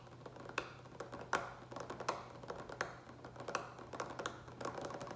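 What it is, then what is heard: Plastic water pitcher tapped with fingertips. Fingertips and nails tap quickly on the front and sides of a large green plastic water pitcher with a lid, partly filled with water. The irregular, crisp clicks and light knocks carry a hollow mid tone near 560 Hz that dies away almost at once, over a faint steady low hum.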